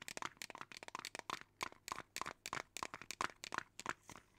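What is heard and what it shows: A small clear plastic jar with a lid, partly filled with colorful small beads and held in one hand near the microphone, is shaken and tapped with long teal nails. This produces a rapid, irregular run of dry, bright clicks and bead rattles that peak around 1.3 kHz, with almost no low end. Each tap dies away almost instantly.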